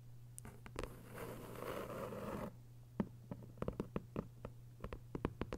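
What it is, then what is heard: Hardcover paper book. Long white nails scratch across the paper dust jacket of a thick hardcover novel, making a steady, soft rasping scrape for about two and a half seconds. Quick, dry clicks and taps on the cover follow, each dying away almost instantly over a faint low hum.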